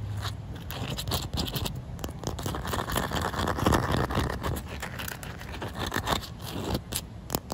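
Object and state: Wet concrete surface.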